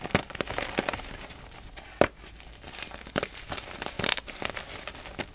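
A small, solid pink-and-white pressed gym chalk bubble chunk is held over a pile of loose chalk powder while both hands squeeze and crush it with the fingertips until it crumbles. A rapid series of dry, crisp crunches and crackles is heard, with a sharp, loud snap around the two-second mark and bright, gritty detail between the cracks.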